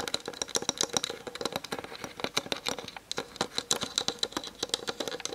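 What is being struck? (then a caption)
Plastic camera lens barrel and body. Long nails tap quickly on the hollow plastic lens barrel and body of a Canon DSLR on a tripod, picked up by the camera's built-in mic. The taps are rapid, dry, bright clicks with almost no low end and no ring, and they briefly ease off near the three-second mark before picking back up.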